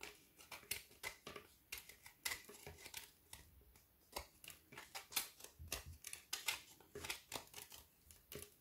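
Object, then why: Frozen milk chocolate bar and metal knife. A metal knife scrapes along the edge of a solid frozen ORION milk chocolate bar with banana and cacao filling, held in hand and already partly shaved. The clip is a quiet, rapid series of short, crisp, bright scraping strokes with almost no low end. Each stroke peels off chocolate shavings.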